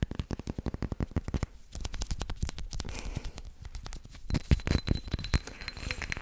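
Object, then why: Small glazed ceramic plant pot. Long nails rapidly tap and scratch a small white glazed ceramic planter, held in one hand and filled with an artificial succulent. Quick, dry clicks give way to a scratchy rasp in the middle, then sharper, louder taps return with a dull, hollow knock from the pot.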